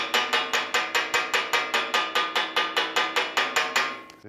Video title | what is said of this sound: 클랑마누어 팍투어 공방의 리빌트 철학 | 여기 위를 두드리면 기본적인 소리의 성질은 같다고 할 수 있습니다